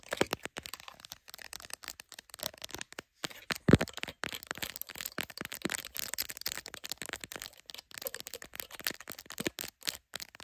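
Long acrylic nails rapidly tap and scratch the back and glass lenses of a solid, hand-sized smartphone in a clear plastic case, held in a tripod clamp. Dense, sharp clicks and crackly scratches run continuously with very short ring, bright on top with some low thump underneath. One louder tap stands out partway through.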